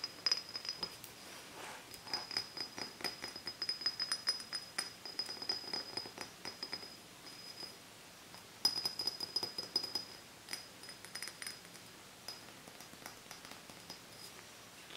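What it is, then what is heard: Glass soda bottle, empty. Fingertips and nails tap and scratch an apparently empty, hollow matcha soda glass bottle with a paper label, held in hand. Quick, light clicks and soft scratching run throughout, bright and thin with a faint high glassy ring that fades almost instantly. A sharper burst of taps comes near the middle before settling back into quiet, irregular tapping.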